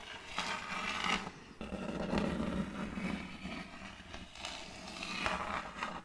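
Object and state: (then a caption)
End-grain wooden board. Long colored fake nails tap and scratch the face of a large round board of checkered end-grain wood held upright. A steady, dry scraping rasp with bright crackly edges runs throughout, broken by irregular soft taps and a brief quieter pause, over a dull woody low body.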